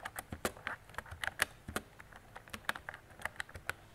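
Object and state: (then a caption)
Plastic mechanical keyboard. Fingertips with long decorated nails type on a mint-green retro mechanical keyboard with round plastic keycaps and a hollow plastic body. About sixteen quick, sharp clicks with a bright, clacky tone land in an uneven rhythm, each dying away almost at once.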